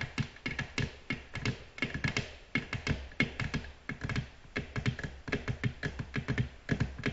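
Long natural nails gently tap a flat, solid, glossy black glass tabletop in a quick, uneven run of about 35 taps over seven seconds. Each tap is a short, dry click with a bright edge around 2 kHz and a soft low thunk beneath it. The sound dies away almost at once, with no ringing.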